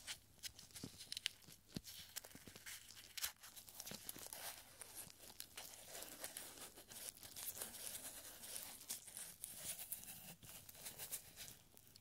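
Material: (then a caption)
Paper. A small, thin, yellowed paper scroll is unrolled between gloved fingers until it shows "42." Quiet, steady crinkling and crackling fill the clip, with sharp, bright, very short snaps and little low end.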